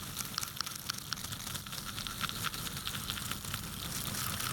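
Fingertips brush and scratch across the upturned tips of wooden toothpicks packed into a small yellow cylindrical container held in one hand. The result is a dense, bright crackling and rustling, full of quick dry ticks, with a faint ringing tone near 1.3 kHz that recurs through the clip. It grows slightly fuller and steadier toward the end.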